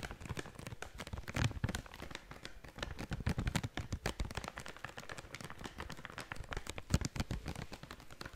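A blue and yellow plastic/foil snack bag is shaken and crinkled quickly in one hand. The result is a dense, continuous run of sharp crackles and rustles with a strong low thump underneath, with a few louder crinkle bursts standing out.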